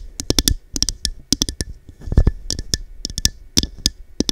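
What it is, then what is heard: Cut-glass cup tapped with nails. Long dark nails tap quickly and irregularly on a small, hollow, empty cut-glass cup with a textured diamond pattern, held over the microphone. Each tap is a short, dry click with a bright, glassy tick on top and a hollow, boomy low thump underneath. The taps die away almost instantly, with no lingering ring.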